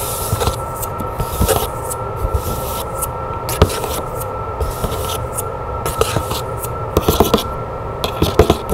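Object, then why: Printed cardboard box with lid. Long nails scratch and tap the lid and sides of a hollow, decorated printed cardboard box with a lid. Soft, continuous scratching runs throughout, broken by sharp, quick taps over a steady low hum.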